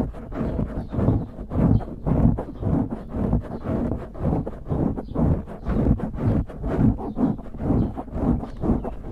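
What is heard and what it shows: Fingertips scratch and squeeze the top of a dark grey foam windscreen on a microphone, producing a muffled, low, rustling crunch in uneven rhythmic waves. The sound swells and fades repeatedly, with energy concentrated in the low range and almost nothing bright.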